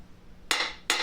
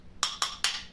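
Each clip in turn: First: solid floor tile. Second: hollow floor tile.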